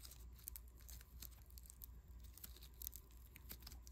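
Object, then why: Lump of foam bead clay. A small, soft, solid lump of unpackaged yellow foam clay made of tiny polystyrene beads is kneaded, pressed and rubbed between bare fingertips. It gives off a steady, irregular crunchy crackle of many short, bright ticks over a low hum.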